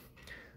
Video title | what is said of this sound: Every Park Tool Chain Checker Explained and Demonstrated | if you tap on the chain it shouldn't have a lot of noise